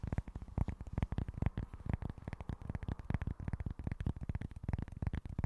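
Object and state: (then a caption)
Cork board. Fingertips and nails rapidly tap and scratch a small, flat, solid cork board, making a dense run of soft, dull taps with quick scratchy textures. The sound is muffled and low, with each tap dying away almost instantly.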